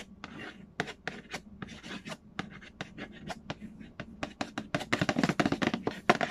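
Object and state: Cardboard board game box.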